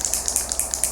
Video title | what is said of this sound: Flawless Four/Younique Spray Foundation | you want to shake it you want to hear that ball make sure it's mixed up really good